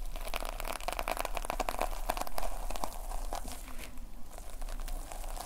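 A notepad with a red plastic sequin fabric cover is held in both hands while the thumbs scratch and rub across the sequins. The result is a dense, steady run of crinkly, crackling clicks over a faint low hum, with short bright ticks that stop almost at once.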